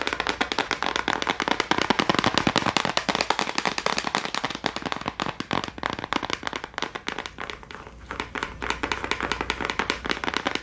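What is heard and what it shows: A small clear plastic case of gel crayons, held close, is tapped fast and aggressively with long nails. The result is a dense, continuous stream of sharp, bright clicks that crackle almost like firecrackers. The tapping briefly softens and thins out near the eight-second mark before picking back up.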